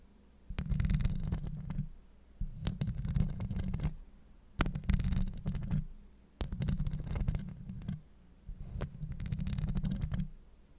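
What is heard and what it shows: Long acrylic nail tips scratch across a hollow steel mesh microphone grille in five separate bursts. Each burst is a deep, rumbling, boomy scrape centered low, with fine crackling ticks sparkling up into the high range. Brief near-silent pauses fall between the bursts.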